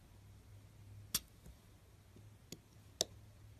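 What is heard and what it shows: A thin metal blade scores lines into a palm-sized, solid orange Fax bar of soap held flat by fingers with long nails. Three short, sharp, bright scratching clicks stand out against a quiet, low hum, each dying away almost instantly.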